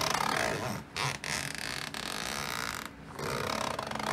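A metal zipper is worked along a medium black woven nylon/polyester backpack lying on a wooden floor, while one hand with long painted nails holds the fabric flap. A steady, bright, raspy zipping sound runs throughout, with brief dips near one second and a longer pause around three seconds before the zipping resumes.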